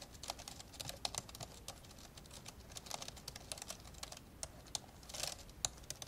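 Fingertips of both hands type continuously on the plastic keys of an old, open, dark grey plastic laptop. The result is a rapid, uneven run of short, bright tapping clicks that die away almost instantly, with a few sharper clicks standing out above a soft, steady patter.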